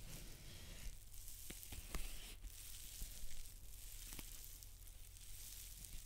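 Long dark-painted nails scratch and tap a large white paper towel roll lying on its side. A steady, bright, papery scratching hiss is broken by a few short, crisp taps, over a faint low hum throughout.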